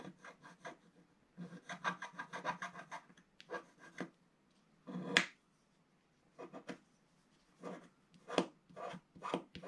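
A wooden stylus held in the fingers scratches the black wax coating of a flat scratch-art page over gold or colored paper, lying flat in a book, working at its lower edge while the other hand steadies the page. Quiet, dry, raspy scratching comes in short, irregular bursts and clusters separated by silent pauses, with a bright gritty texture and a louder stroke near the middle.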